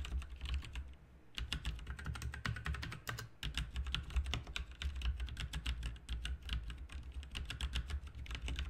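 Both hands type continuously with their fingertips on an RGB backlit mechanical keyboard with plastic keycaps, producing a rapid stream of sharp, bright clacks that stop ringing almost at once. A steady low hum sits underneath throughout, and the typing pauses briefly near the second mark before resuming at an even pace.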